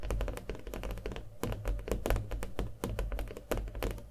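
A small stretched canvas covered in thick acrylic paint, with a hollow frame, is held and tapped rapidly with fingernails. The taps come as a quick, uneven series of short, dull, hollow thuds. Their sound is mostly low and bass-heavy and dies away almost immediately.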